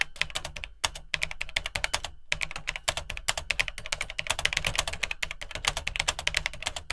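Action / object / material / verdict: tap / plastic computer keyboard / plastic / none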